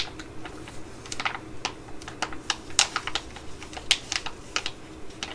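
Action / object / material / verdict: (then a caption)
tap / laminated plastic pouch tapped with fingernails / plastic / none. A laminated plastic pouch with a pad tub inside is held, crinkled and tapped with long nails. There is a low, steady rustle and about sixteen sharp, bright clicks and crackles at irregular intervals. Each tick dies away almost at once.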